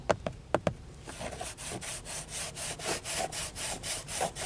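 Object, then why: Plastic steering wheel airbag cover. Fingertips with short nails tap four times on the textured dark plastic airbag cover at the center of a car steering wheel, which has a chrome badge and a hollow, rigid shell, making sharp, hollow clicks. They then scratch the grained surface in steady, rhythmic back-and-forth strokes, a dry, bright rasping that continues to the end.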